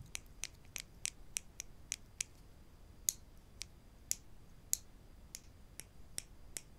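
Two small, solid wooden spring clothespins are held in the fingers and tapped together, with more clothespins lying still on the table. There are 16 sharp, bright, dry clicks at an uneven pace, each cutting off instantly with no ring. A faint steady high tone sits under the quiet background.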